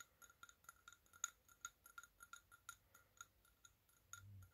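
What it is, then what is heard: Glass jar candle. Fingertips and nails tap around the sides of a medium round glass candle jar filled with solid orange wax, three wicks lit, held in both hands. A quick, uneven series of light, bright clinks, each with a high glassy ring that dies away almost at once. Near the end, a brief low rumbling thud sounds under the tapping.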